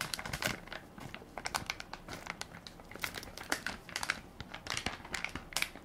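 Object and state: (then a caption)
Plastic baby wipes soft pack (crinkling film). A hand-sized Equate baby wipes soft pack, made of crinkly plastic film and full of wipes, is held in one palm while fingertips and nails press and crinkle the film. The result is a steady stream of dry, bright crinkles and sharp crackles with very little low end. Louder bursts stand out over a quieter rustle throughout.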